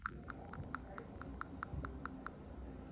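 A human front tooth, tooth number 8, is tapped 11 times at an even pace, with each tap giving a short, sharp click around 1.4 kHz over a low background hum. It serves as the normal-sounding reference tooth for comparison with the neighbouring tooth number 9.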